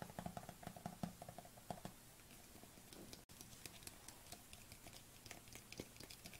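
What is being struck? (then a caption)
Small plastic tub with lid. Long nails tap quickly on the lid and side of a small white plastic supplement tub with a white lid, held in the hands. The quiet, fast, irregular clicking has a hollow low ring in the first two seconds and brighter, crisper ticks later. There is a brief silent gap just past the three-second mark.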